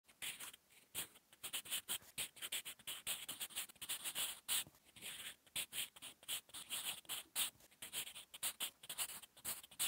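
Graphite tip of a sharpened wooden Staedtler Lumograph 8B pencil, held in the fingers, writes by hand on a flat sheet of lined drawing-paper notebook resting on a solid surface. Quick, continuous scratching strokes come in bursts with short pauses between them. The sound is bright and hissy, almost entirely high-pitched with almost no low end.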